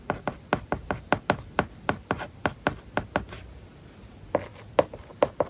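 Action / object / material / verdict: scrape / plastic stylus on a tablet screen covered with matte plastic film / plastic film / none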